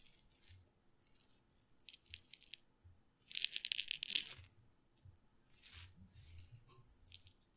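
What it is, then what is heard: Glass pepper grinder with peppercorns. A glass pepper grinder with a red and black plastic top, filled with peppercorns, is held sideways in one hand and shaken so the peppercorns rattle against the glass. Quiet, dry, bright rattling comes in irregular bursts, with the loudest burst near the middle and a softer one toward the end.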